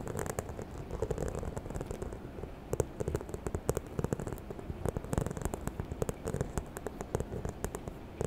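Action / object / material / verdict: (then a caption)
tap / faux leather handbag / faux leather / none. Long nails scratch and tap the textured front of a small, hollow, white croc-embossed faux leather handbag held close to the mic. Quick, dry clicks and soft scratching run throughout, with a muted, low, hollow body and almost no ring.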